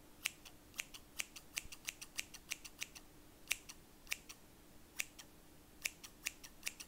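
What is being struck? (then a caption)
Steel scissors. Large stainless steel scissors with solid blades and black plastic handles are held in the hand and opened and closed, with other scissors lying still on a fabric surface. A quick, uneven series of sharp, bright snips and scraping clicks rings around 2.7 kHz and fades almost instantly. A faint steady low hum sits underneath.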